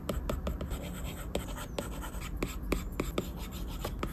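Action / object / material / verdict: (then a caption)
tap / plastic stylus tip on a glass tablet screen / glass / none. A plastic Apple Pencil tip taps and scratches quick circular strokes across a large, solid, flat glass iPad screen. About twelve short, sharp ticks stand out over a soft, continuous scratching hiss, each dying away almost at once.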